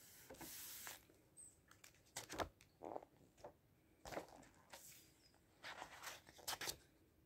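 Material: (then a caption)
Glossy paper. A hand turns a page of a large open book with glossy paper pages resting on a table, then the fingertips rub across the open spread. Soft, bright papery swishes and crisp rubbing strokes come in short bursts, with quieter scratchy friction between them.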